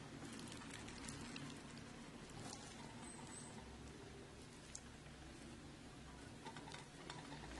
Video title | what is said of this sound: Cevizli Ev Baklavası Sunum / Çıtır çıtır ev baklavası sesi açmayı unutmayın😉 Tatlı Tarifleri | Henüz daha çıtır çıtır. Bugün üçüncü günü şerbeti dökmemin aslında.